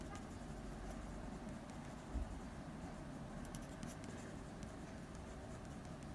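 The tip of a blue mechanical pencil makes short strokes across a flat sheet of drawing paper bearing a drawing of a dog's nose. Faint, fine scratching sits over a steady low rumble, with a few slightly louder strokes standing out.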